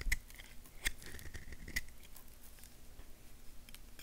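A small solid tan bar of soap held in the hand is scraped and carved with a purple knife blade, shaving off curls. Several sharp, crisp scrapes with bright clicks stand out early on, followed by a continuous soft, dry scratching.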